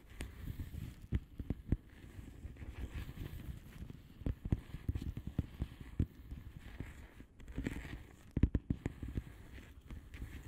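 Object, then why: Plastic bubble wrap mailer envelope. Long manicured nails of both hands tap and scratch a flat blue plastic bubble wrap mailer envelope with air-filled bubbles. Quick, dry, crinkly taps and scraping come in an uneven stream, with a soft, low-heavy body and no ringing.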